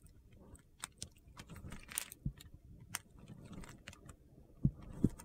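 A metal utility knife blade slices and scrapes small cubes off a solid yellow bar of soap, partly carved and held in the hand. Short, crisp cutting and scraping clicks come at an irregular pace over a soft, low, gritty rustle, with a few sharper, brighter snaps standing out, especially near the end.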